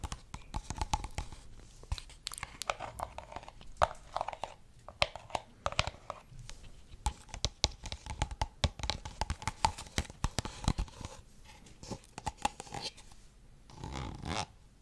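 A small, empty, thin, clear plastic drinking cup is held in a hand close to the mic while long red-painted nails and fingertips tap and squeeze it. The result is a dense run of sharp, crinkly, crunchy clicks and crackles with a hollow plastic ring around the mid range. Brief softer crinkling passes between the sharper taps.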